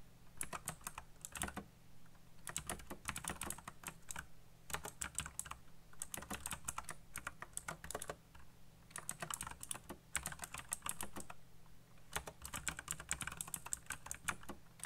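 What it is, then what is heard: Plastic mechanical keyboard. Fingertips type fast on a backlit mechanical keyboard with black plastic keycaps, giving bursts of sharp, bright clicks and clacks over a steady low hum. The keystrokes come in quick runs separated by short pauses, each tap ending almost at once.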